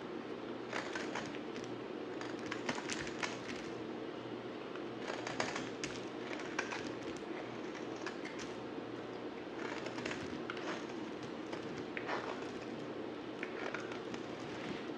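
A palm-sized solid grey bar of soap, held in one hand, is scraped and shaved with a yellow utility knife blade while the shavings pile up underneath. A steady, soft scraping hiss runs throughout, broken by crisp, crackly bursts with bright edges as the blade bites into the bar.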